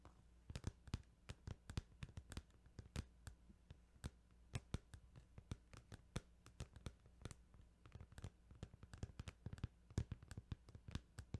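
Fingertips tap on a plastic Final Fantasy 8 video game case, making many quick, short clicks in irregular bursts over a low steady hum. The taps are soft and dry, with sharp bright edges that die away almost at once.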